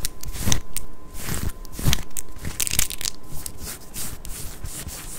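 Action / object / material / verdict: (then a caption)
scrape / ribbed knit cotton top / cotton knit / none. Long acrylic nails from both hands scratch a worn pink ribbed knit cotton long-sleeve top at the waist and midriff. Irregular rough scratching strokes with bright, crackly rasps rise and fall over a low rumble, with a few sharper peaks near the start.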